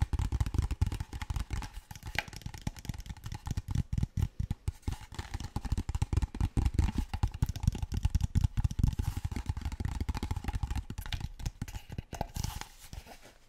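A large, clear PET plastic water bottle that appears empty is tapped and scratched with fingertips and nails, with some crinkling of the plastic. The result is a steady stream of quick, dry, hollow taps and scratches, heavy in low thuds, each dying away almost at once.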